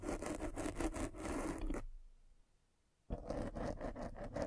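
A metal-spiked derma roller is rolled over the black foam windscreen of a microphone, scratching the foam. Dense, rough, crackling rubs with a soft low-mid body come in quick uneven strokes, stop for about a second of near silence, then start again just as dense.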